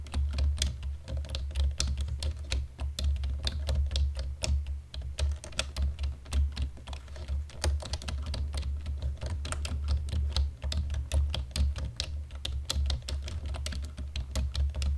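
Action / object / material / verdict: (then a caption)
tap / plastic computer keyboard / plastic / none. Both hands type steadily on a black plastic computer keyboard with fingertips and nails in dim light, producing a continuous stream of quick, sharp key clicks and clacks. A steady low hum runs underneath the typing throughout.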